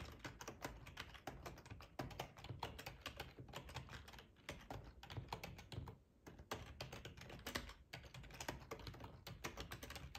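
Fingertips of both hands type on a full-size black plastic ergonomic split keyboard resting on a cloth tablecloth. A steady, quick run of short clicky keystrokes with soft low thuds underneath continues throughout, with a brief lull around six seconds before it picks up again.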